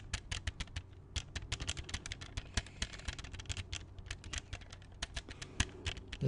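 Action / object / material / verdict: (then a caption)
tap / plastic CD jewel case / plastic / none. Fingertips and nails tap and handle an open, small, hollow hard plastic CD jewel case with a black disc inside. A quick, uneven run of sharp, bright clicks and light rattles plays over a faint, steady low hum, each tap dying away almost instantly.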